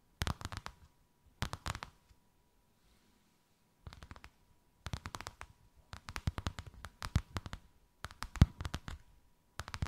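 Long white acrylic nails tap and scratch a thin white faux-leather sheet with a snakeskin emboss, draped over something rounded. Bursts of quick, dry, crisp clicks and soft scratches come in irregular clusters with short pauses between them. A faint steady tone hums underneath throughout.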